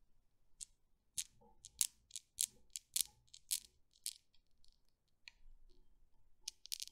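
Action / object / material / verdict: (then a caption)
strike / steel balls of a desktop Newton's cradle / steel / none. Fingers with long nails release the end ball of a desktop Newton's cradle, and its solid steel balls swing and clack together. About fifteen sharp, bright clicks come at an uneven pace, each dying away almost instantly, over a quiet background with a faint low rustle.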